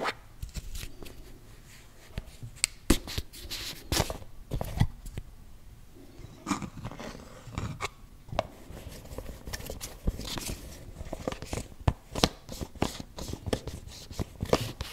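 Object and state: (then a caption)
Plastic cosmetic tub. Fingertips and nails tap and scratch the printed lid and pink sides of a closed, round, hand-sized plastic body-butter tub. Many sharp, dry, hollow taps ring out briefly over a quiet bed of soft scraping and rubbing, with the scratches reaching into bright high tones.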